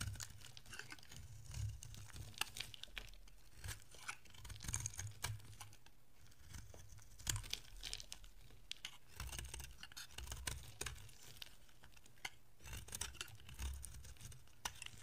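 A utility-knife blade scrapes a solid orange bar of dry soap while fingers break off flakes. Dry, crinkly scraping and crisp crunching snaps come in irregular bursts over a soft low rumble. The short, bright crackles die away almost instantly.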